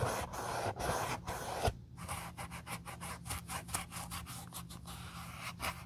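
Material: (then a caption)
Leather. A wool dauber rubs dye over the vamp straps and near the sole of an empty brown leather Josef Seibel sandal. A dense, continuous scratchy rubbing gives way to quicker, softer, irregular brushing strokes over a faint steady low hum.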